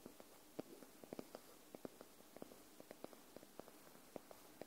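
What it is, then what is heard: Paperback book. Long manicured nails tap and scratch the top paper edge of a white paperback book, held upright in front of the mic as a solid paper block. The result is a quiet, uneven string of short, dry, muted taps with no ring, set over a faint soft scratching hiss.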